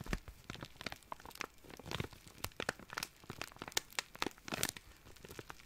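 A small, thin, empty clear plastic zip-lock bag is crinkled and rubbed with the fingertips. The result is a quick, irregular run of sharp, dry crackles and crinkles that are bright and papery, with a brief louder burst near the end, and each snap dies away almost instantly.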